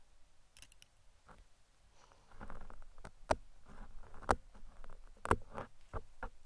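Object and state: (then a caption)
Foam microphone windscreen being picked and scratched. Metal tweezers, held in fingers with long red nails, drag and pick across the top of a large black foam windscreen covering a microphone. Soft, muffled scratching and rustling rises partway through and is broken by sharp, irregular clicks as the tips catch and snap off the foam.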